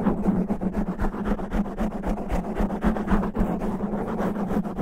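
Natural fingernails scratch fast and roughly across the top of a black foam microphone windscreen. It makes a dense, muffled, rhythmic rasping of about four strokes per second over a steady low hum, with nothing bright.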